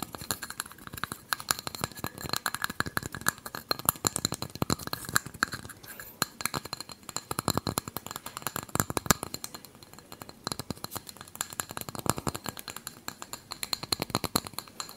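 Fingertips and nails tap quickly along the rim and sides of a small, hollow, empty unglazed terracotta kulhad cup held close to the microphone. The result is a dense, steady stream of short, dry clinks and clicks with a bright edge and almost no ring, coming in soft waves of louder and quieter tapping.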